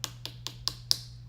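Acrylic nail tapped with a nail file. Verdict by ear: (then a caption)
Dry. A nail file taps an acrylic nail five times in a steady rhythm, each a sharp, high, dry click with almost no ring. The crisp sound shows the previously wet acrylic nail is now dry and ready to file.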